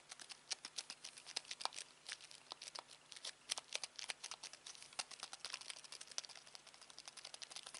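A black plastic Samsung TV remote is held in the hand while fingertips tap quickly on its rubber buttons. The result is a quiet, rapid, uneven stream of dozens of short, dry, bright clicks and taps with almost no low end and no ring after each press.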